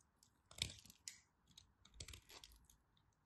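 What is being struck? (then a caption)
Bar soap. A craft knife blade carves and scrapes a thin remaining piece of solid pink striped bar soap held between the fingers. Dry, crunchy scraping strokes come in short bursts, with the strongest cuts near the start and again around the two-second mark, all bright and crisp with a soft low thud beneath.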